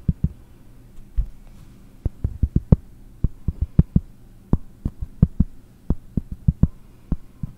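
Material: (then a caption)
Cork. Long blue nails tap on a round, solid cork disc, giving about 25 short, dull, low thuds that stop almost instantly. The taps come in irregular bursts with brief pauses, over a faint low hum.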